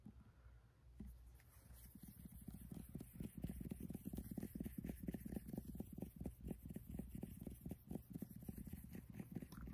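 A blue plastic Dr Teal's bath product bottle with a black cap, held in the hand, is tapped repeatedly with fingertips and nails. After about a second of quiet, a steady run of quick, dull, hollow taps follows, low and muffled with almost no ring, like a soft clip-clop.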